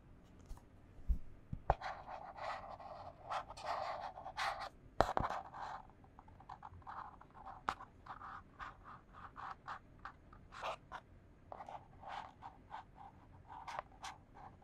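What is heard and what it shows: A small, empty, hollow white printed cardboard box held in one hand is scratched with long fingernails. Quick, uneven bursts of dry, papery scratching with a hollow midrange tone repeat throughout, and a few sharp taps stand out early on.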